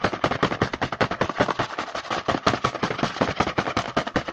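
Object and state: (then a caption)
Cardboard snack box, tapped and scratched. Fingertips tap and scratch fast on the front face of a small, hollow, printed cardboard Hanuta snack box held in the hand, which is apparently full. A rapid, uneven run of dry, papery taps with a hollow midrange knock and scratchy brightness keeps going throughout. Each tap dies away almost at once.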